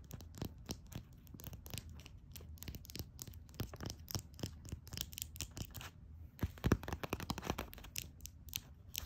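Long nails tap and scratch a small, full, red glass nail polish bottle lying on its side. A steady stream of quick, dry clicks and light scratches comes through with almost no ring, over a low background hum, with a louder cluster of taps near the end.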